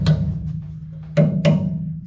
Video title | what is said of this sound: 1969 Dodge Charger QA1 4 Link Install Part 2: Welding | solid yeah it sounds solid